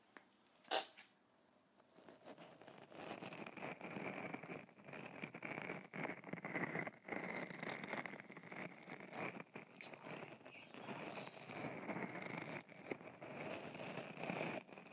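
A small, solid, purple owl-shaped stress ball filled with gel beads under a mesh net is held in one hand beside the mic and squeezed and kneaded with the fingertips. After a single sharp click and a brief pause, it gives a steady stream of wet, crackling squishes with a bright edge that runs to the end.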